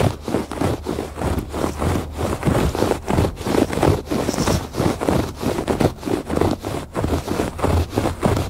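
Fingertips and nails scratch the ribbed surface of a woven fabric rug on a porch. Dry, rough scratching strokes repeat at an uneven pace, with the sound sitting mostly in the low and middle range and very little brightness.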